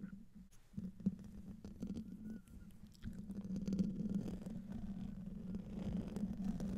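Short painted fingernails on both hands, with rings on the fingers, scratch the hollow metal mesh head grille of a silver USB condenser microphone. The result is a close, muffled, low rumbling scrape with a steady hum-like tone near 190 Hz and almost no bright content. Quick, irregular scratches run throughout, and the sound grows noticeably louder and denser after about three seconds.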